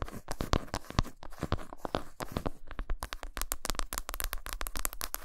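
Long pointed nails quickly tap and scratch the smooth back side of a flat, solid milk chocolate bar lying face-down on a towel as shavings build up. Dry, short clicks and scraping strokes follow in a rapid, uneven stream that grows denser and brighter in the second half, with each tap dying away almost instantly.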